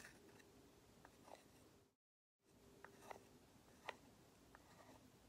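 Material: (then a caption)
Lacquered wood. A small, hollow, lacquered wooden matryoshka nesting doll, held in both hands, is tapped and scratched with long nails while other dolls sit untouched on the table. Five short, dry taps with a woody knock around 930 Hz and bright scratchy edges come over a faint, steady hiss, each dying away almost instantly. The sound briefly drops to complete silence just before the two-second mark, then resumes.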